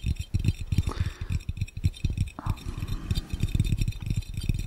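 Fingertips of both hands tap quickly on an empty, hollow, clear round glass fishbowl, making a rapid stream of dull, low, thumping knocks with very short ring. A faint voice may be faintly audible underneath.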